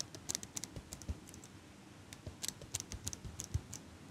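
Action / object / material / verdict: tap / metal eyelash curler / metal / none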